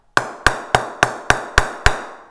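Seven sharp taps low on the blade of a 2017 Gray-Nicolls Signature willow cricket bat, each giving a bright ping near 1.5 kHz that fades quickly. The bat still pings well this low, showing the sweet spot covers most of the blade.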